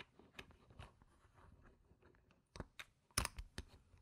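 Stacks of solid round plastic poker-style game chips with coloured rims and gem stickers sit on a fabric mat and are tapped and clicked with long painted nails and fingertips while being restacked. Soft rustling and light shuffling run under a series of sharp, bright plastic clicks that stop quickly. The loudest clicks cluster near the end.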